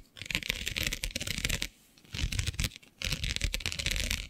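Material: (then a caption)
Plastic. Long nails scratch across the grid of a flat black iridescent plastic diamond mesh sheet. Three bursts of dense, crackly scratching are heard, bright and raspy with a low rumbling undertone, separated by brief quiet pauses.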